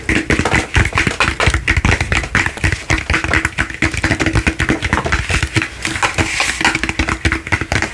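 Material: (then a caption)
Plastic. Fingertips and nails tap quickly on a large, hollow, frosted plastic light-up crystal ball sitting on a black base. The result is a dense, continuous stream of short hollow thumps with bright plastic clicks, each dying away almost at once. A faint steady tone sits underneath.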